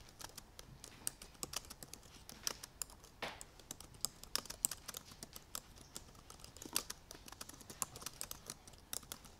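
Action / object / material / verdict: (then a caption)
tap / aluminium laptop keyboard with plastic keys / plastic / none. Both hands with purple painted nails type quickly with their fingertips on the black plastic keys of a silver aluminum MacBook Pro laptop keyboard. The result is a rapid, uneven stream of quiet, bright, sharp clicks with almost no ring, plus a brief softer rustling burst partway through.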